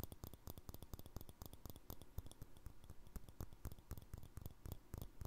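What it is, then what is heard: Glass jar with plastic lid. Fingertips and nails tap a small empty clear glass jar with a green plastic lid, striking both the lid top and the glass wall. A quick, steady run of short, dry taps, each a soft low thump with a bright little click on top that dies away almost instantly.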